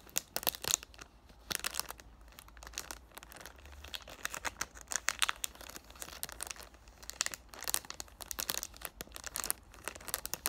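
Short black-painted nails tap on and scratch a hand-sized cardboard "Thank U Next" perfume box in clear cellophane wrap, held in both hands. Bright, crisp plastic crinkles and quick taps come in bursts, with almost no low end. The sound is dry, with no lingering ring.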